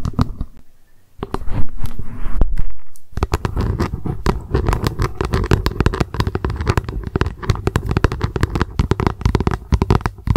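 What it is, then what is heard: Plastic lunch box tapped with nails. Long acrylic nails tap rapidly on the translucent base of a small, hollow plastic lunch box turned upside down. The result is a dense, continuous patter of short, hollow, low-pitched knocks that die away almost instantly. After a brief lull near the start, the tapping runs steadily to the end.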